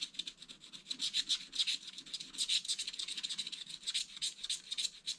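A wooden stylus scrapes broad areas of the black background off a wax-coated scratch art page in a spiral pad, revealing green beneath. The result is a quiet run of dry, bright, rasping strokes in an uneven rhythm, with almost no low end and no ring after each stroke.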